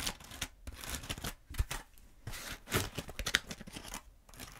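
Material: Foam.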